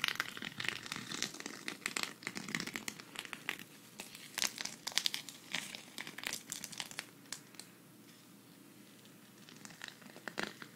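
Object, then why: Sequin fabric patch scratched with fingernails. A thin, flat green sequin cactus patch on fabric, held at the right, is scratched with long red nails so the sequins flip. Dense, bright crinkling and clicking scratches come in bursts, then quieten to near silence before a few final scratches at the end.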